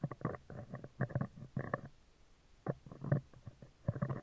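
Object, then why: Steel wire-mesh microphone grille. Metal tweezers rapidly scratch and tap the right side of a hollow, round steel wire-mesh microphone grille. The result is bursts of low, muffled rumbling scrapes and taps, separated by short pauses.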